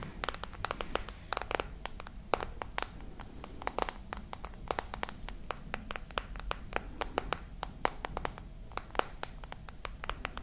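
Long nails tap rapidly and irregularly on the glass screen and edges of a glass and metal smartphone held horizontally with its screen on. Each tap is a short, dry, bright click with almost no ring, heard over a faint steady low rumble.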